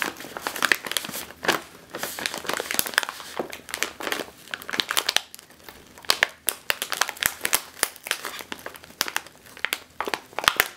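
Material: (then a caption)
Metallized plastic. A sealed, puffed metallized plastic chip bag, likely holding chips, is pressed, squeezed and crinkled with fingertips and long green nails. Dense, bright crinkling comes in bursts of sharp crackles and snaps, each dying away almost instantly, with almost no low end.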